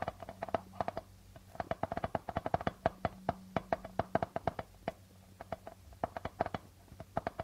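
Fingertips and nails tap and scratch the plastic head of a hollow darbuka drum, right beside the guitar logo on the membrane. About 39 quick, dry taps ring at a mid pitch and die away almost instantly, in an uneven rhythm. A faint low hum runs steadily underneath.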